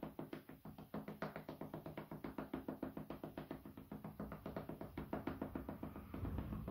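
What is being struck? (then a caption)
Wooden cutting board. A flat, light-colored solid wooden cutting board, held horizontally, is knocked and tapped with the fingertips in a quick, uneven run of about 47 short, dry knocks. The hollow, woody taps center around 266 Hz with almost no ring. Near the end, a denser low rumble builds under the taps.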